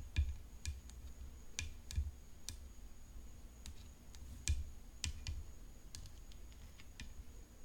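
Long fingernails tap on a tennis racket, making quick, light clicks and bright ticks at an irregular pace. Each tap stops almost at once. A low rumble and a faint steady high whine sit underneath.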